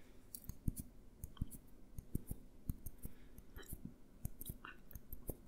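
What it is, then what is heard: Glass jar. A small clear glass jar with a green label, held upright and then tilted, is tapped with fingertips and nails. Quiet, soft, irregular taps and clicks follow one another in quick succession, each dull and short with almost no ring, mostly low thuds with faint bright nail ticks.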